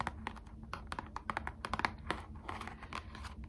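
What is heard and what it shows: A small, hollow printed cardboard trading card box, held in both hands, is tapped and scratched on the back with long acrylic nails. Quick, dry clicks land in a rapid, uneven stream over a soft, low background rumble, with some faint scratchy rustles between the taps.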